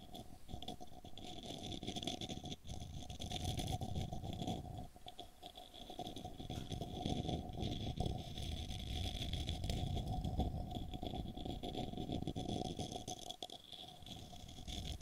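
Fingernails and fingertips scratch and tap the outer surface and rim of a small, hollow, apparently empty light-wood cylindrical cup held beside the microphone. The result is a dense, fast, uneven patter of soft scratches and dull taps that is heavy in the low end, with a faint steady tone underneath. The activity briefly quiets around the 5- and 13-second marks.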